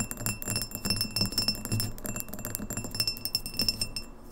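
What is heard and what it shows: Long fingernails tap quickly on both sides of a tall, empty, clear pint glass with an etched logo, standing upright on a wooden table. The rapid, dense patter gives bright, short clinks with a high glassy ring and a faint steady tone near 2.7 kHz, over soft low thuds from the table.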